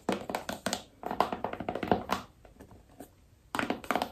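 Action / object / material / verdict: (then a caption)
tap / small cardboard phone box / cardboard / none. Long nails tap the sides and lid of a small, hollow black cardboard iPhone box in quick, dry bursts with a hollow midrange knock near 720 Hz. The taps come in clusters, fade to a few light, sparse clicks midway, then pick up again briskly at the end.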